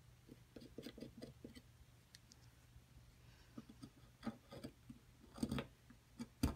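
A flat metal chisel scrapes and chips at a solid white plaster excavation block held flat, breaking away plaster chunks. Soft, irregular scratching and light ticking fill the first part, then a few sharper, brighter chips crack out toward the end. Each sound is short and dry, with almost no ring.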